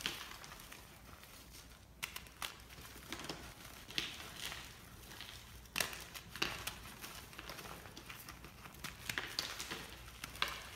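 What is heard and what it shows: A solid white block of gym chalk (magnesium carbonate) is held and crushed between both palms and fingers over a pile of chalk blocks and powder. The crumbling and squeezing make a steady, dry, bright crinkling and crackling, with sharp crunchy snaps breaking through at irregular moments as pieces give way.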